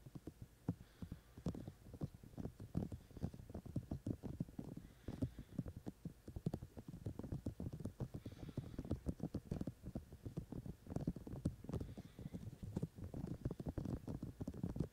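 Fingertips tap quickly and repeatedly on the white silicone ear shells of a binaural microphone held in both hands. The taps are soft, dull, low-heavy thumps that stop short with no ringing, falling in an irregular, fast patter for the whole clip.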